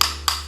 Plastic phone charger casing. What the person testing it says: charger yang oem atau KW ketika kita ketuk itu terasa kopong